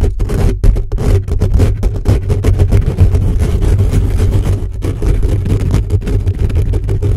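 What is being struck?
Metal mesh microphone grille.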